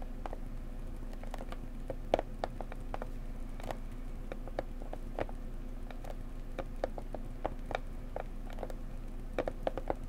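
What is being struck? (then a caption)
Small cardboard box. Fingertips and nails tap gently on the sides of a small blue floral cardboard mug box, making quick, dry, light clicks and pats with a papery tone around 600 Hz. The taps come in an irregular, scattered rhythm over a steady low hum, with no ring after each one.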